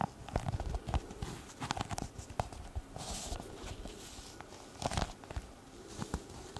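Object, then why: Leather glasses case. A small, hollow brown leather pouch or glasses case is held upright and tapped and scratched with long red nails. Soft, dull, low taps mix with dry scratching that rises into brief brighter rustles, and each tap dies away almost instantly.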